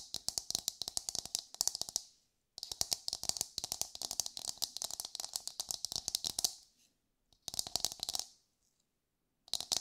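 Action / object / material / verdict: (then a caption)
tap / coconut shell half / coconut shell / none. Long nails tap and scratch the hard outer surface of an empty, hollow, palm-sized brown coconut shell half as it is turned in the hands. The result is rapid bursts of bright, crisp clicks with a faint hollow tone near 700 Hz. Each tap dies away almost instantly, and the bursts are separated by short silent pauses.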